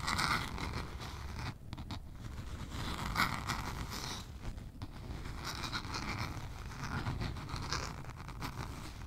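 A small spiral-bound notebook with a lime green cardboard cover is held horizontally above the mic and scratched with long nails. The result is a steady, continuous scratching and scraping with a low rumble underneath and bright, raspy upper tones that swell and fade in waves.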